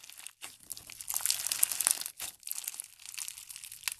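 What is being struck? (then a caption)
Foam bead slime. A large mass of pale pink foam bead slime (floam) with sparse glitter is stretched and squeezed with the fingers of both hands. It gives a dense, bright crackling crunch of many tiny pops that rises and falls in bursts, with brief quiet gaps.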